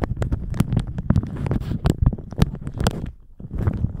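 A thin plastic shower cap stretched over a microphone is crumpled and squeezed with the fingers. Dense, bassy crinkling and rustling with many short, sharp crackles runs almost continuously, dipping quieter briefly near the end before picking up again.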